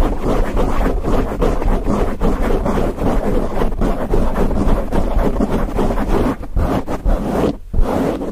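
Fingertips of both hands scratch and rub a grey foam windscreen on a microphone. The result is a loud, continuous, muffled rustling and scraping, heavy in low rumble with almost no bright content, pulsing with the quick strokes throughout.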